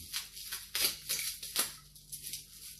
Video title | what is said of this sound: Chinook ipa brew day and beer mail | That sounds like glass.